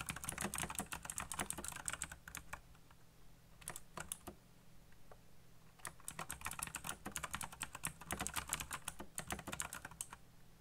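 Fingertips fast-type on a black backlit mechanical computer keyboard with plastic keycaps, producing rapid bursts of sharp, bright clicks over a steady low hum. The typing breaks into a few sparse taps in the middle before dense clicking resumes to the end.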